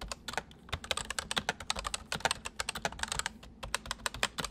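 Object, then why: Plastic mechanical keyboard keys. Fingertips of both hands type quickly on a white full-size MSI plastic mechanical keyboard with hollow keys. The result is a dense, steady stream of short, bright clacks that stop sharply, with a hollow tone around 770 Hz and little low end.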